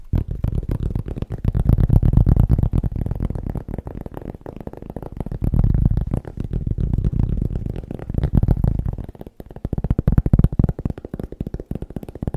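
A cork is tapped quickly and steadily for about twelve seconds. The taps are deep, bassy thuds with almost no high end, each dying out almost instantly, and they come in a rapid, uneven stream that swells and fades in loudness.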